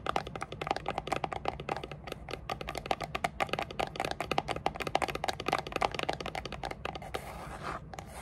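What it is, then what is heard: Cardboard box tapped and scratched with nails. Long dark nails rapidly tap and scratch the sides of a small, hollow, grey textured rigid cardboard gift box with a lid. The result is a quick run of dry, crisp clicks with a hollow tone near 780 Hz. Near the end it shifts to a brief, brighter scratching rub.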